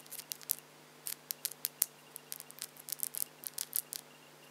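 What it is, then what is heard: Acrylic false nails clicking. Long French-tip plastic (acrylic) false nails on both hands are tapped and clicked against each other with the fingertips held close together, with no other object involved. The result is an irregular series of quick, dry, bright clicks in small bursts with almost no ring, over a faint low steady hum.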